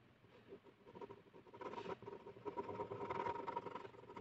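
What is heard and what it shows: A blue plastic ballpoint pen scribbles rapidly back and forth across a flat white paper sheet on a hard surface. The tip makes a dense, scratchy patter of fast strokes with a faint tonal squeak around 950 Hz, and the sound grows louder in the second half.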